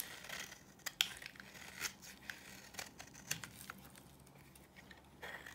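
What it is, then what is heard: Dry soap bar being scraped. A solid, dry yellow oval bar of soap is scraped with a utility knife blade, and flaky shavings fall away. The sound is a quiet, bright, crisp crinkling scrape. It comes in a series of short, sharp ticks and rasps with almost no low end.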